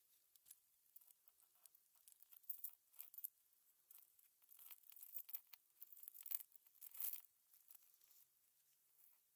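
A gloved hand pokes and nudges a pile of small hollow silver metal cover-button backs with shanks, using a thin metal pin, on a blue plastic cutting mat. The pieces clink together and scrape across the mat in a quiet, crisp, high-pitched flurry of tiny ticks and rustles, with busier bursts in the middle.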